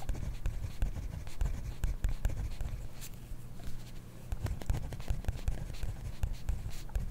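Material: Paper.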